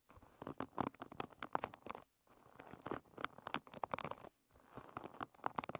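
Long red nails scratch across the wooden pins of a wooden paddle hairbrush with pin bristles, lying bristles up. Three bursts of quick, dry clicking and scratching are separated by two brief silences. The sound is quiet and mostly midrange, with a bright crackle.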